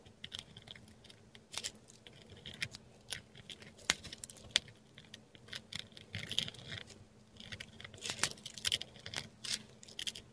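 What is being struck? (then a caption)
Textured paper sheet under a metal dip pen nib. A metal dip pen nib writes Thai letters in ink on a flat sheet of textured Korean paper, heard close up. Quiet, bright, scratchy strokes are broken by sharp, dry ticks and short rasps that stop instantly, with little low-end body.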